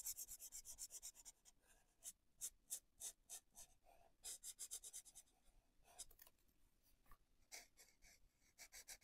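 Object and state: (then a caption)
Felt-tip marker colouring on paper. A felt-tip marker colours a paper colouring book page on a desk in steady rubbing strokes, with the hand and marker staying on the page throughout. The result is a quiet run of quick, bright, airy scratches: rapid strokes at the start, then bursts of longer swipes separated by soft pauses.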